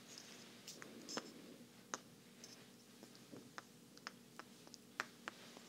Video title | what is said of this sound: Thrifty Tingles: Enigmatic Wooden Blocks & Grass Skirt (Binaural ASMR, Soft Spoken, Rustling, Wood) | little sounds of blocks of wood tapping together